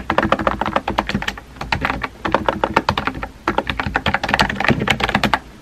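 Fingertips with painted nails type rapidly on a compact pink plastic mechanical keyboard with a hollow body and round white-and-pink typewriter-style keycaps, resting on a desk. Quick, crisp, hollow-sounding clacks follow one another in fast bursts, with brief pauses near 1.5 and 3.4 seconds. Each tap is short and dry with a mid-pitched body.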